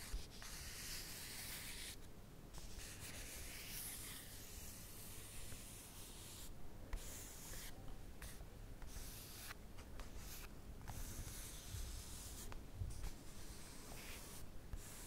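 Long manicured nails and fingertips rub and scratch across the glossy page of a rolled-open magazine showing a sneaker ad. The result is a steady, quiet papery scratching with a low rumble underneath and bright, hissing scrapes that come and go in bursts.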